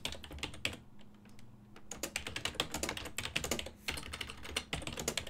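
Both hands type continuously with their fingertips on a full-size black and silver ergonomic plastic desktop keyboard, its keys over a hollow body, while the mouse sits idle. Rapid, bright, clacky keystrokes come in quick flurries with brief lulls, each click dying away almost instantly, over a faint low steady hum.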